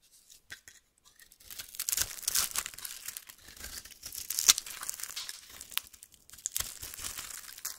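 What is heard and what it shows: A metal knife blade cuts a solid lilac oval bar of soap, held in the hand, into sticks and scrapes its surface. After a few faint ticks, a steady run of bright, crisp scraping and crackling begins, broken by sharp louder cuts. The sound is almost entirely high-pitched, with very little low end.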